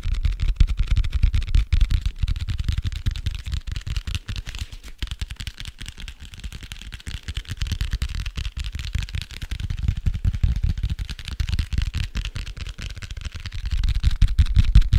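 Fingertips and short nails rapidly tap and scratch the dark printed cardboard cover of a medium-sized, solid, closed hardcover notebook held close to the microphone. The taps come as dense, irregular, dull low thuds that die away almost instantly, over a faint scratchy hiss, swelling and easing in loudness throughout.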